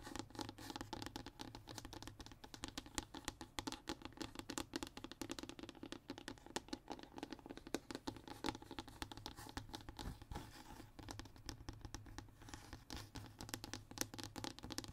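Both hands scratch and tap with short fingernails on a flat, thin, solid brown hardboard (MDF) fiberboard sheet. The result is a quiet, steady stream of dry, rapid scratches and light taps. Each one is short with almost no ring and carries a low-mid body and a bright edge.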